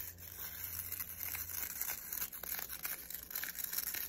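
Fingernails rapidly scratch and flick the nylon bristles of a black plastic round hairbrush held in both hands. The result is a quiet, bright, crisp rasping and crackling texture of fast little flicks, mostly high-pitched with very little low end. A faint low hum sits underneath for the first second and a half.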